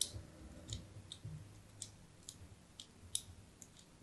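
A metal blade scores diagonal lines across the face of a solid white embossed soap bar held in the hand. There are eight short, bright scraping clicks spread over about four seconds, with a faint low rumble underneath.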